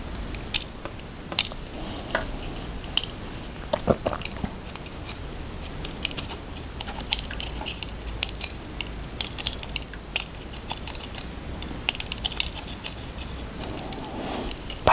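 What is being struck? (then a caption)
Handmade soap bar cut with a knife blade. A red utility knife blade cuts a notch into a solid, cream-coloured, palm-sized bar of handmade soap and scrapes a groove along its surface with short, repeated strokes. The result is a steady series of sharp, bright, crisp scraping crunches over a low, soft background hiss.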